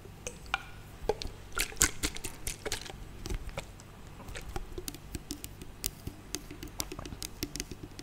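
A medium-sized, hollow, transparent plastic bottle with a silver cap, partly full of clear liquid, is tapped and handled with long nails and fingertips close to the microphone. Many short, crisp clicks and taps sound over a soft low rumble, with faint liquid sloshing and dripping. Each tap dies away almost at once.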